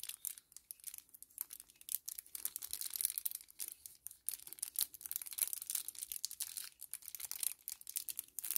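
A small, flat 10 ml kraft paper-plastic laminate sachet is held in both hands and crinkled and crumpled with the fingers. Quiet, bright, dry crackles and crinkles come in dense, rapid bursts with almost no low end. Each sharp snap dies away instantly.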